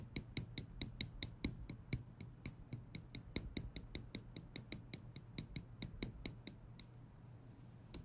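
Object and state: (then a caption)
Metal tweezers clicked. Small steel tweezers have their tips clicked and flicked with fingers, giving a steady run of about thirty sharp, bright metallic ticks with almost no ring. The clicks stop near the seventh second, then one last click lands at the end over a faint low hum.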